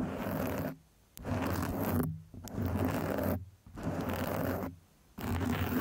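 Long acrylic nails scratch and tap across the top and sides of a soft, porous black foam microphone windscreen. Five bursts of dense, muffled rustling and scraping, heavy in the low range, are separated by short silent gaps.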